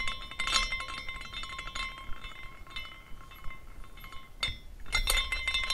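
A small decorative glass carousel figurine is spun by hand, and its glass horses clink against the glass posts as it turns. The result is an irregular series of light, bright glass tinkles with faint steady ringing tones underneath. Clusters of clinks flare up near the start and again toward the end.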